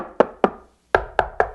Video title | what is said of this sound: Particle Board and Cheese? - B&W 601 S2 | The unbraced particle board, it's pretty hollow sounding. There's a lot of thump there. It's not a hard ring, but it's definitely going to be a lot of flexing going on.